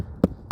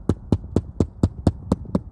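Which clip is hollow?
The first.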